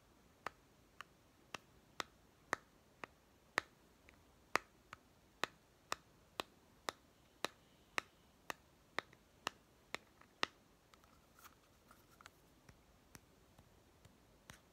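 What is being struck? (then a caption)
Small plastic toy tin. A fingertip and nail tap and flick the ridged white end cap of a small, hollow plastic toy pet food tin. They make over twenty sharp, dry clicks at a steady, nearly even pace, with a bright, clicky tone centred around 1.2 kHz and almost no low end. Each click dies away instantly, and the taps grow softer and more scattered near the end.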